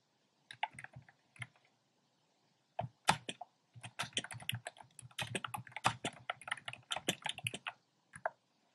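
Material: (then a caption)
Plastic. Fingertips type on a compact plastic mechanical keyboard with a black plastic case and round pastel plastic keycaps. A few quiet, clicky keystrokes come first, then a short pause, then a steady run of crisp clacks with bright tops and a soft low thump under each press. The typing pauses briefly before a last pair of keystrokes.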